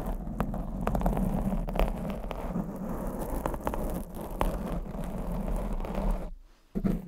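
Long acrylic nails scratch a black foam windscreen on a condenser microphone, making a dense, low, rumbling scrape dotted with sharp clicks. The scratching runs continuously, stops into near silence for about half a second near the end, then resumes.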